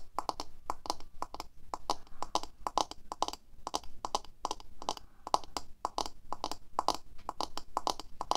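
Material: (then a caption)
Plastic. A medium black paddle hairbrush with a hollow plastic handle and plastic bristles is held in both hands while long fingernails and fingertips tap its handle and body. The sharp, hollow plastic clicks come in quick clusters and slower runs, each with a clear knock around 850 Hz, a bright edge, and almost no ring.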